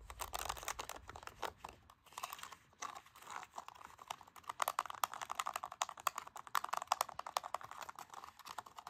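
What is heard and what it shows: Fingertips and nails tap and click the rubber buttons of a hollow black plastic LG TV remote lying on carpet. The result is a rapid, irregular stream of short, dry clicks with a midrange body and almost no low end. The clicks pause briefly around two seconds and grow denser and louder in the second half.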